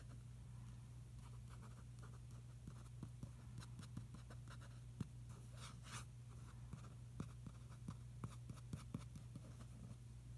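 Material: Paper.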